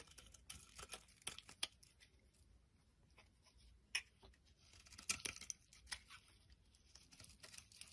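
A palm-sized, solid, translucent brown bar of soap is held in the hand and scraped and shaved with a utility knife blade. The sound is a quiet run of bright, crisp scraping and crackling strokes with short, sharp peaks and dry pauses between them, and almost no low end.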